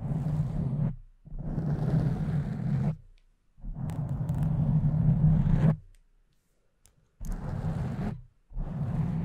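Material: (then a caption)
Foam. Long nails slowly scratch and grip a pink foam windscreen on a microphone with both hands. Five separate bursts of deep, muffled, rumbling scratching are heard, with almost all the sound low and no brightness, and short silent gaps between them.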